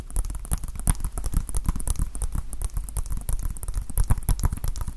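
A small hollow plastic Nintendo Switch game case is held in both hands and tapped with fingertips and nails. Quick, dense patters of light taps and clicks run without pause, each one short and dry with a low, dull body and faint bright ticks on top.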